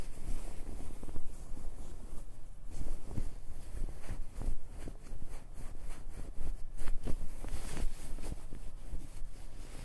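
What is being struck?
Nothing is struck.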